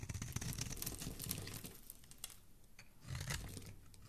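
A palm-sized, purple-and-white striped solid bar of soap, held in a hand with dark-painted nails, is shaved with a metal blade. It makes a dense, crisp scraping and crackling with a low, soft body and bright, papery crinkles. The sound eases off briefly before another scraping burst as flakes peel away and leave a flat cut face.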